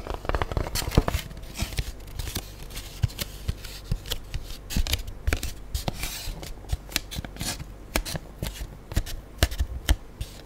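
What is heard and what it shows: An empty black styrofoam food tray with an embossed logo is held upright while long nails scratch quickly over its ridged foam underside. The result is a dense run of quick, dry scratches and short clicks with little ring, their level rising and falling throughout.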